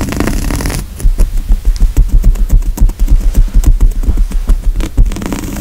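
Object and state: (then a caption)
Woven fabric couch cushion. Fingertips and medium-long nails scratch back and forth across the coarse woven grey upholstery of a large, soft but solid padded couch seat, with a cabled microphone lying on the cushion close to the hand. After a second of low rustling, a quick, uneven run of dull, bassy scratching thumps follows at about three per second. It settles back into soft rustling at the end.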